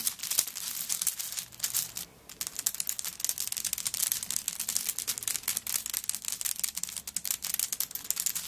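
Long nails scratch and tap across a handbag covered in coconut shell chips lying flat. A dense run of quick, bright clicks and dry scraping rattles on with almost no low end, with a brief near-silent pause around two seconds.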